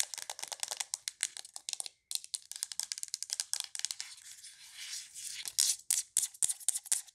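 Long nails tap rapidly on the sides of a hollow white plastic aroma diffuser. The result is quick, bright, dry clicks with almost no low end, briefly pausing near the two-second mark. A softer, scratchy stretch follows before sharper, louder taps return at the end.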